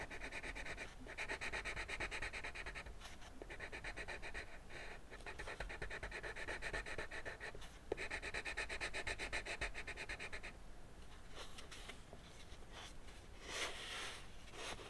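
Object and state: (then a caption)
Colored pencil shading on paper. A teal colored pencil rubs back and forth in dense shading strokes across the dragon body drawn on flat white drawing paper resting on a wooden desk. The result is a steady, scratchy, bright rasp in long rhythmic bursts with brief pauses between. Toward the end the strokes thin out into lighter, sparser scrapes before the pencil is lifted.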